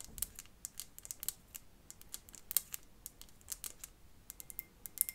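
Long fingernails tap and scratch a decorative glass light bulb filled with pebbles and a small artificial plant, set on a metal base. Around two dozen quick, bright, clicky taps sound irregularly over a soft scratching hiss, each dying away almost at once.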